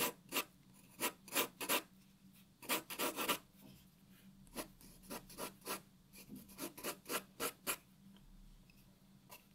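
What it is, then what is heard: Paper sheet shaded with pencil. A graphite pencil shades a white paper sheet resting on a wooden table, making 19 short, bright, rasping strokes. The strokes come in uneven bursts with brief pauses, each one a quick scratchy rasp with almost no low end, set against a quiet background.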